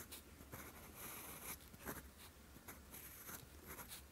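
A steel fountain pen nib is drawn across a flat sheet of lined writing paper, writing characters in green ink. Soft, scratchy strokes rise and fade with a bright hiss, over a faint low hum.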